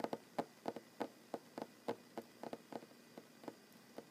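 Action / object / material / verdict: tap / wooden tabletop / wood / none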